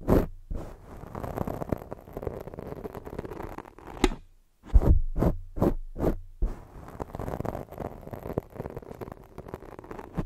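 Long jeweled nails slowly scratch and rub a black foam microphone windscreen, producing close, muffled scraping and rustling with a heavy low rumble. Around the middle, the rubbing gives way to a few separate soft thumps before the continuous scratching resumes.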